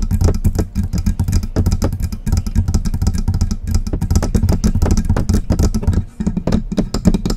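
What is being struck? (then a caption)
Metal microphone body and grille. Long press-on nail tips rapidly tap and scratch the hollow silver metal body and grille of a USB microphone. The result is a dense, continuous patter of quick clicks and scrapes over a heavy, boomy low thump, with each tap dying away almost at once. The sound eases briefly just after the six-second mark before the tapping picks up again.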